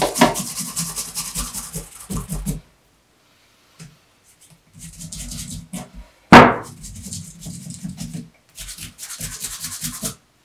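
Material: Leather.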